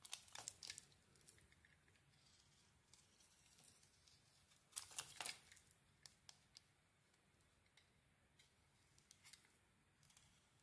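A hand-held, hand-sized Cleopatra bar of soap with a metallic pink coating and a cream core is carved with a metal utility-knife blade, its scraping cuts peeling off thin shavings. Quiet, bright, crisp scrapes and short ticking clicks come at an irregular pace, with the loudest burst of scraping around the middle.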